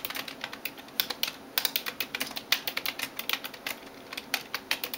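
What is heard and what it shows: A hand types rapid taps with fingertips and nails on the keys of a backlit plastic computer keyboard. About thirty short, bright clicks and clacks land in quick, uneven bursts, each dying away almost instantly with no low-end thump.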